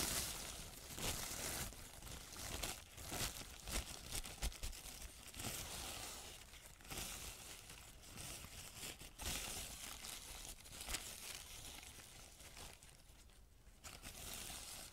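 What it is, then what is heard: Crumpled paper sheet. A large, crumpled sheet of thin white paper is crumpled and rubbed by fingertips close to the microphone. The result is a steady, bright, dry crinkling and rustling for the whole clip, with sharper crackles throughout and brief louder bursts.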